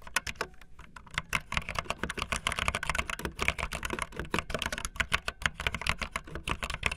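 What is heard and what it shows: Fast typing on a full-size backlit plastic Bluetooth membrane keyboard with white and blue plastic keycaps and a hollow plastic body, with keys pressed by fingertips and the tips of long painted nails. A rapid, uneven stream of short, dry clacks carries a bright click over a soft low thump, each tap dying out almost instantly.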